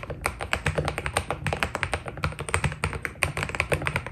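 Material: PBT plastic.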